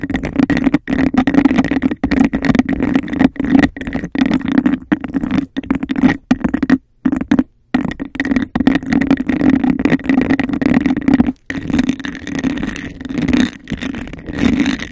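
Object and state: Textured glass cup, scratched and tapped.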